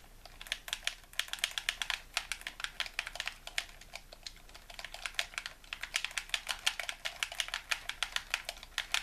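Thumbs and fingertips repeatedly press and tap the buttons of a hollow white plastic handheld game controller held in both hands. The result is a rapid, uneven stream of short, dry, bright clicks with almost no low end, similar to fast typing on a keyboard.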